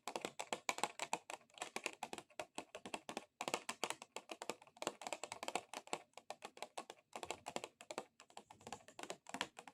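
Fast, clicky tapping with extra-long acrylic nails on a plastic object, coming in quick bursts with short pauses that sound much like typing on a keyboard. Each tap is a short, dry click with no ring, concentrated in the mid and upper range with almost no low end.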